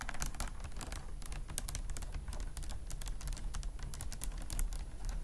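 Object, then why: Beaded clutch bag with faceted glass or acrylic beads. A vintage beaded flower clutch with faceted glass or acrylic beads lies flat on a fluffy mat while long nails tap and scratch across the beads. Rapid, bright clicks and rattles come in a dense stream over a steady low rumble, sounding much like fast typing.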